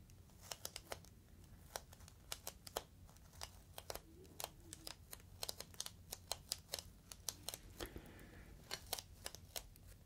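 Fingertips squeeze and crinkle the top edge of a clear, inflated plastic air-column cushion bag. The result is a quiet, irregular stream of sharp, bright plastic crackles and ticks, each dying away almost instantly, over a faint steady low rumble.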